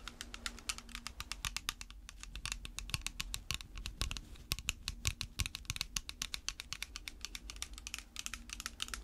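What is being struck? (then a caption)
Plastic spray bottle. Long red fake nails worn over latex gloves tap and scratch a clear plastic spray bottle that is partly filled with water and held in gloved hands. Rapid, sharp, bright clicks come in dense bursts with short scratchy strokes between them, each tap dying away almost at once. A low, steady hum sits underneath throughout.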